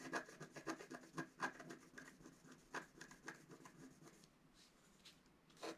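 A wooden stylus scratches fine lines into the black coating of a flat scratch art card lying on a table. Quick, uneven strokes make dry, bright rasping scratches that fade softer toward the end, then a final louder stroke.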